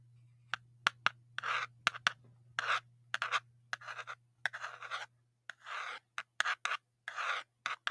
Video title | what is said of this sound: Todoroki Tries ASMR | tapping on metal things so i have this soda can that's empty right here